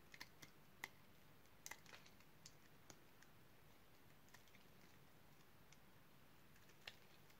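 A utility knife blade carves cubes off a solid, light pink bar of dry soap held in the hand. It makes short, crisp, bright crunching clicks at irregular intervals over a quiet, low background hiss, each snap dying away almost instantly as the cubes break off.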